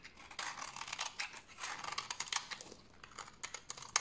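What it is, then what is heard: Dry bar soap being shaved. A large, solid, dried tan bar of soap is held in the hand and shaved with a utility knife blade. The strokes come as a run of dry, bright scraping rasps with quiet gaps between them, ending in a sharp high click.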